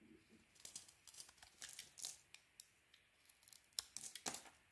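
A solid Cleopatra soap bar, mostly its cream interior showing, is held in the hand and carved with a metal blade. A rapid series of short, crisp, bright scraping and shaving bursts ring out, with almost no low end and very quick decay. It sounds like dry, crackly peels coming off the bar.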